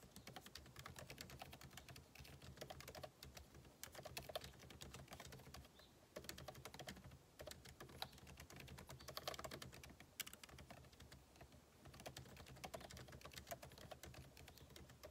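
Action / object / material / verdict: tap / laptop keyboard with plastic keys in a metal body / plastic / none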